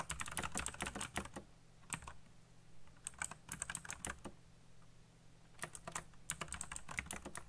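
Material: Plastic.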